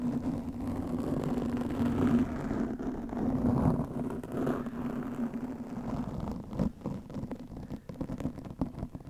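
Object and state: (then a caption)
Foam microphone windscreen being scratched. Long nails and fingertips scratch and rub a black foam windscreen on a studio microphone. The result is a dense, muffled, low scratching rustle with a steady low tone running underneath. Toward the end it breaks into sharper, separate scrapes.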